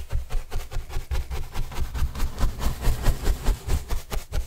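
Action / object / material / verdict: scrape / corrugated cardboard panel / cardboard / none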